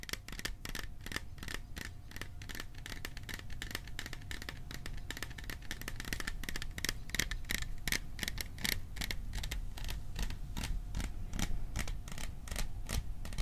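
A small metal popcorn container is tapped quickly and unevenly for ASMR. Each tap gives a short, bright metallic tick with a faint high ring, over a low background rumble.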